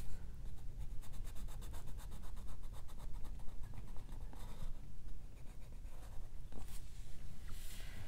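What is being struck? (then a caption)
Colored pencil on paper coloring book page. A colored pencil shades a page of an open paper coloring book resting on a fur rug, moving in repeated back-and-forth strokes. It makes a quiet, steady scratching and rubbing on the paper with a soft, bright, papery texture over a low, muffled rumble.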